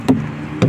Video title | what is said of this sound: welcome back mga kauragon check muna ng ating unit bako bumyahe#uragontrucker | pinatok nyo ng ganyan at parang hinog na lang ka yung kinakatok nyo, ibig sabihin yan kulang sa hangin